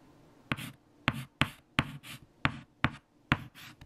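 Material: Chalk.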